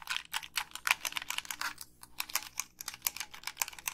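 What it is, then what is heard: Plastic game controller. Long pink nails click the buttons and tap the shell of a hollow, black plastic Xbox 360 gamepad. About two dozen quick, dry, bright clicks and taps come in an uneven stream with almost no low end. Each one stops instantly with no ring.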